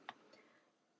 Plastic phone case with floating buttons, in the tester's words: there is a teeny tiny rattle that you have with a floating button design if you shake this listen carefully can hear a tiny little noise